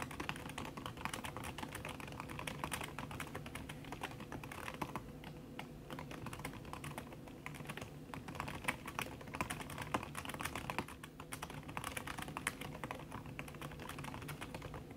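Fast, continuous typing with fingertips and long red nails on a backlit aluminium laptop keyboard, its plastic keys covered by a red silicone skin. The keystrokes are soft, muted clicks in a dense, steady patter with a short ring and a faint low hum underneath throughout.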